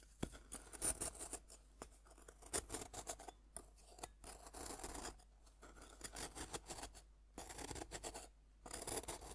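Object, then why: Compressed powder bath bomb scraped with a metal fork. A metal fork scratches the cut face of a fist-sized, solid pink bath bomb made of compressed powder, held in the hand, releasing powder as it goes. Repeated dry, gritty scraping strokes come in short bursts with brief quiet gaps, each carrying a crisp, bright, crumbly hiss.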